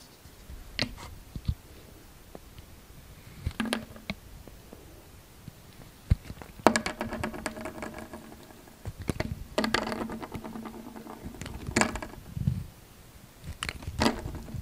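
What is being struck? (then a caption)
Bar of soap cut by a metal blade. A utility knife blade shaves thin curls from the surface of a solid, rectangular, light green "COCO SOAP" coconut soap bar held in hand. Crisp, dry scraping and cutting strokes come in quick bursts. Some are short ticks and others are longer rasping passes with a faint low hum, all set against a quiet background.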